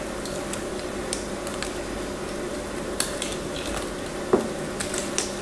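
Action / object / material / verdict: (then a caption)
scrape / soap bar cut with a craft knife / soap / none. A craft knife carves and scrapes a hand-sized, solid blue and white marbled bar of soap held by long nails. A steady, dry scraping hiss runs throughout, broken by several sharp, bright clicks and ticks as the blade catches the bar, the strongest near the end.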